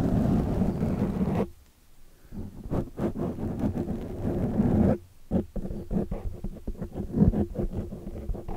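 Long dark nails scratch the sides and top of a large black foam windscreen on a microphone. The result is a dense, muffled, low rustling scrape with almost no bright content, broken by two short near-silent pauses before the scratching resumes in choppier bursts.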